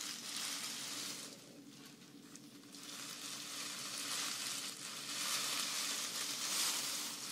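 A folded bundle of green grass-skirt strands, dried grass or raffia, is held horizontally while both hands squeeze and scratch it with long nails. The result is a dense, bright, crackly rustle that briefly softens partway through, then swells back louder toward the end.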